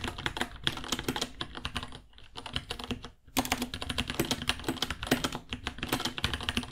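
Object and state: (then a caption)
Plastic mechanical keyboard. Fingertips type on a white 66-key mechanical keyboard, about 30 cm long, with Gateron Brown switches, plastic keycaps and a hollow case ($60). A quick, uneven stream of short, bright plastic clacks has a dull low thock underneath, with brief lulls near 2 and 3 seconds before the typing picks up again.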